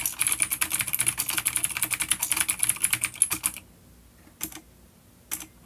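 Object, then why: Plastic mechanical keyboard. A full-size black plastic vintage mechanical keyboard with grey keycaps, a coiled cable and clicky blue switches, an A-grade unit, sits on a wooden desk while both hands type rapid key taps with the fingertips. A dense, bright run of crisp clicks lasts about three and a half seconds, then stops, followed by two separate short bursts of keystrokes after brief pauses.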